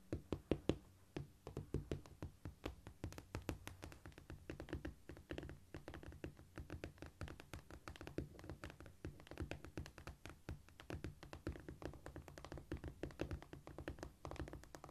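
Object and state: Cork floor.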